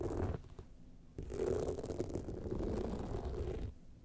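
Long nails scratch the sides and top of an upright gold rhinestone-studded evening clutch bag. A short burst of dense, low, rumbling scratching fades to quiet, then a steady, gritty scrape runs for about two and a half seconds before dropping away.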